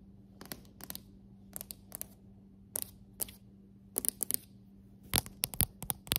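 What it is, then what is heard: Solid hardwood floor. Long acrylic nails and fingertips tap on solid, dark hardwood floorboards, giving 21 short, bright, clicky taps in irregular clusters that grow busier toward the end. Each tap dies away almost at once over a quiet, steady low hum.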